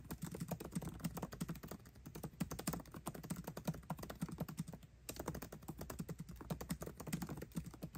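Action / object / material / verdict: tap / laptop keyboard, plastic keycaps in aluminum body / plastic, aluminum / none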